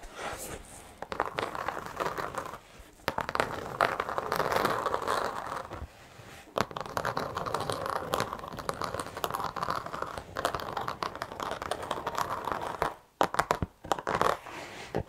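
A black textured carpet car floor mat, held horizontally, is scratched with long acrylic nails. The result is a dense, continuous crinkly scratching with bright rasping texture, broken by brief sharp scrapes and a few short pauses.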